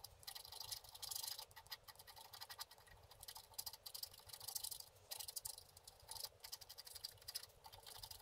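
A wooden stylus scratches the black coating of a flat, solid, book-page-size scratch-art paper card resting on a table, in short strokes. The result is a quiet, bright, dry scratching made of rapid bursts of raspy high hiss with almost no low end and no ringing after each stroke.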